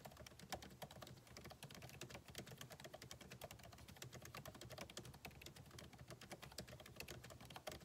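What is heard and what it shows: Fingertips of both hands type steadily and quickly on a backlit MacBook Pro keyboard with plastic keycaps set in an aluminum body. The result is a dense stream of short, crisp clicks with bright tops, over a faint low hum.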